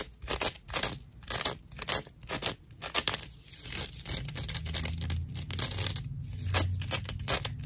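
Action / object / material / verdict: scrape / dried natural loofah slice / plant fibre / none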